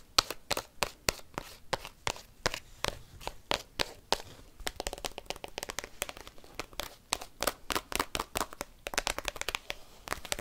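Paperclips worn on fingernails rapidly tap and scratch a black textured plastic card binder album whose clear plastic sleeve pages are full of cards. Quick, sharp, bright clicks fire in dense bursts over a crinkly plastic scratching texture, each tap dying away almost instantly.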